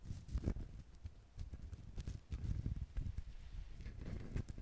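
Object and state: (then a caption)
Whole coconut tapped and scratched. Fingertips scratch and tap a whole brown coconut with a ridged, hard fibrous shell. The result is a run of soft, dull, low knocks with almost no ring, layered over a faint, steady scratching rustle.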